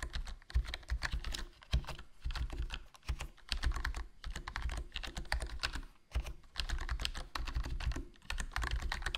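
Fingertips type continuously on a HyperX Alloy Core RGB plastic membrane gaming keyboard with a foam mod, a hollow black plastic body and black plastic keycaps. The key presses come as rapid, muffled, deep thocks with very short decay and only a faint bright click on top, in bursts broken by brief pauses near 3 and 6 seconds.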